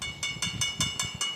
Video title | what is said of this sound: ఓం నమశ్శివాయ. ఓం అరుణాచల శివ. ఓం అరుణాచల శివ. పానగల్లు స్థానిక సహాయ అర్చకులు. 8125820787 | మనకు కాయిన్ కొట్టినట్టయితే మనకు శబ్దం వస్తుంది మేడం. ఇక్కడ మనకు మెటల్ సౌండ్స్ గంట టైం కూడా వస్తుంది మేడం.